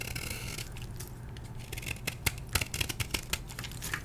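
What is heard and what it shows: A solid blue-dyed gym chalk block held in the hand is scraped with a metal blade, sending crumbly chunks falling. A steady, dry scraping hiss over a low rumble gives way in the second half to a run of sharp, bright crunches and crackles as pieces break away.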